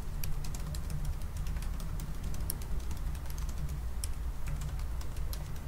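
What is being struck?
Aluminum laptop keyboard with plastic keys.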